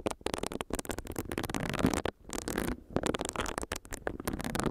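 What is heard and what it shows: Long nails tap on a small, solid pink silicone facial brush while its bristles rub against the mic. The result is a dense, crackly patter of soft scratches and taps with a low thump underneath, broken by a few brief silent gaps.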